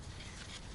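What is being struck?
Nothing is struck.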